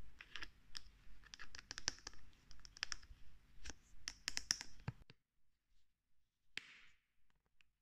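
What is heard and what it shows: A white plastic lotion bottle with a green flip cap is flicked and clicked open and shut with fingers, giving quick, bright plastic clicks and taps over a low rumble. The clicks come in an uneven run for about five seconds, then the clip turns mostly quiet, with one sharp click near the end.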